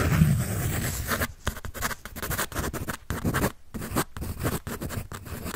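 A graphite pencil scratches across a paper sketch sheet held in both hands. A steady run of dry, raspy scratching strokes comes through, broken by short quiet gaps between strokes, with a soft low rustle of the handled paper underneath.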